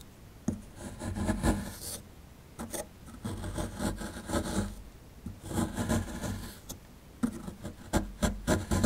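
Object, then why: Plaster block scraped with a plastic chisel. A plastic chisel tip scratches and scrapes the surface of a solid plaster fossil excavation block held in hand, working near the skeleton's tail. Four bursts of dry, gritty scraping are heard with quiet pauses between them, the sound being rough and low-weighted, with short, irregular strokes and no ring after each one.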